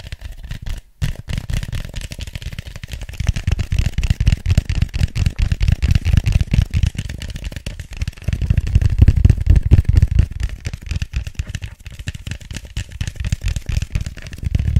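An empty white styrofoam cup sits hollow side down while fingertips and nails tap and scratch across it. The result is a dense, irregular run of soft, low, hollow thumps with almost no ring, mixed with faint scratchy rustling and a brief pause near the start.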